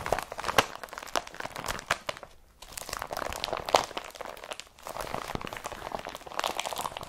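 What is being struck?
Woven polypropylene carrier bag.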